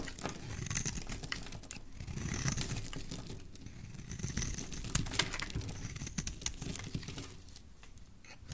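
A solid oval pink soap bar with an embossed logo is held in the hand and shaved and carved with a utility knife blade, sending curls and flakes falling off. Steady dry scraping and crisp cutting rasps run throughout, with bright crinkly ticks and a soft low rumble underneath, swelling and easing with each stroke.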